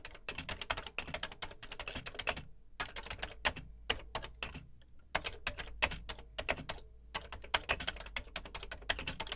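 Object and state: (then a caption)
Plastic home computer keyboard being typed on. Fingertips type on the dark plastic keys of a beige plastic Commodore VC 20 home computer keyboard. Rapid runs of bright, dry, clacky keystrokes with very little ring come in bursts separated by brief pauses.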